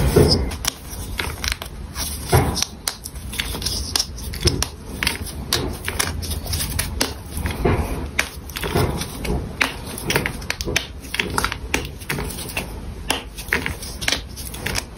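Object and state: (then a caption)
Gym chalk block crumbled by hand. A solid pink rose-shaped gym chalk block is crushed and crumbled between the fingers of both hands over a pile of chalk chunks. A steady stream of dry, crunchy crackles and sharp snaps rises and falls over soft low rustling, with bright, gritty bursts as pieces break apart.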